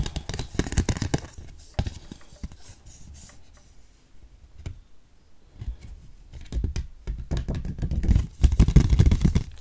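A small, thin, flat printed paper or cardboard leaflet card, held in both hands, is tapped and scratched with long red-painted nails. Quick, dry, dull taps mix with rough scratching; the sound eases to a quieter patch in the middle, then builds to a denser, louder burst at the end.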